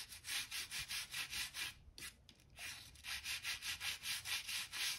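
A hand-held stiff gap brush scrapes along a seam in a solid oak plank floor in repeated back-and-forth strokes. Each stroke makes a bright, hissy scratch, with a brief quieter pause in the middle before the steady strokes resume.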